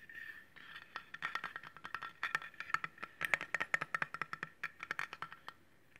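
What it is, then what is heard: Stainless steel cleaver blade. A solid stainless steel cleaver with a metal handle, held horizontally, has its flat blade scratched and tapped with fingernails. Quick, irregular clicky taps mix with light scraping, each tap drawing out a short, bright metallic ring around 1.9 kHz.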